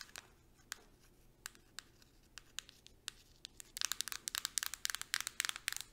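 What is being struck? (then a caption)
Plastic deodorant stick casing. Long nails tap along the body and cap of a Suave deodorant stick, a hard light-blue plastic casing held sideways. Sharp, bright clicks come sparse and uneven at first, then turn into a faster, louder flurry of tapping in the second half.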